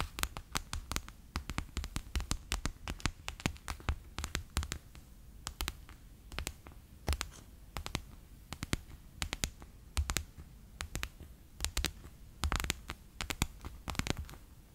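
A fingertip and nail tap on a bear-shaped clear PVC pouch full of water beads lying flat on a table. The result is a steady stream of short, dry taps, each a soft low thud topped by a bright click that dies away almost at once. The taps come in quick, uneven bursts over a quiet background.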